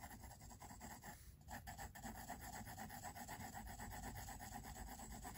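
A pink mechanical pencil scratches and rubs across thick white paper in a large spiral-bound sketchbook lying flat on a wooden table, shading a drawing with short, dense strokes. The quiet, rapid, raspy strokes repeat steadily with a brief pause near the start.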